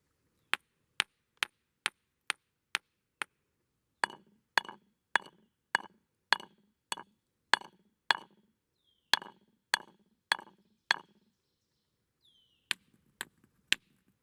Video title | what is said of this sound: NATURE JOURNAL Ring in the Summer Solstice with Rock Music | I just sat there and pounded rocks for a little while with the hammer and then started pounding the rocks with other rocks just to hear the different sounds they were making